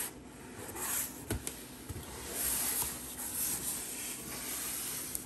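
Long green acrylic nails rapidly tap and scratch across the printed top and side panels of a large, hollow HelloFresh corrugated cardboard delivery box. A steady, bright, papery scraping fills the clip, broken by a few sharp, hollow taps that die away quickly.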